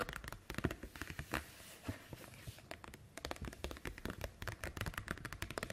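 Hands lift, flex and crinkle an empty translucent green plastic snap-button document folder, then long nails tap on it as it lies on a wooden table. Soft crackling and rustling give way to a quick run of short, dry, hollow plastic clicks with little ring.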